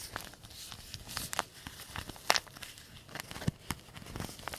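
A small white-and-green printed paper tea bag envelope is held in both hands and crumpled and crinkled with the fingertips. Irregular, dry paper crinkles and brief tearing-like crackles come through, some with bright, sharp edges, over a quiet background.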